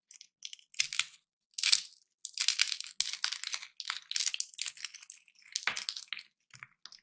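Small, dry, hollow roasted peanuts in their papery shells are cracked open between the fingertips of both hands over a pile of peanuts, with a metal nutcracker lying unused on the table. Bright, brittle crunches and crackles come in short bursts of many quick snaps, with papery crinkling between them and almost no low end.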